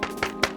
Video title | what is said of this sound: IWI Carmel - Ugg Boots & Spicy Lattes | Like you tap on it and it's hollow.